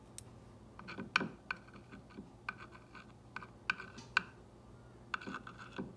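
A clear glass or acrylic ball-tipped rod traces and taps the white script letters on a green-painted solid wooden block sign lying on a table. About fourteen short, dry, bright clicks stand out over soft scratchy tracing, each stopping at once with no ring.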